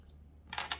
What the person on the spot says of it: suaranya nyaring sekali